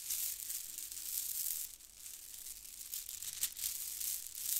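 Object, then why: Plastic faux-pearl bead garland. A handful of white plastic faux-pearl bead garland strands is squeezed and rattled between fingers close up, making a continuous bright, hissy clatter of tiny clicking beads. The sound is almost entirely high-pitched and has no low end, with brief louder bursts of rattling.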